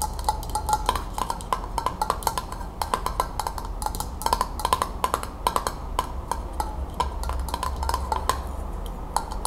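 Long acrylic nail tips tap quickly on top of a metal screw-band lid closed on an empty glass mason jar. The result is a rapid, uneven series of short, clicky taps, each with a brief metallic ping around 1 kHz, over a steady low rumble.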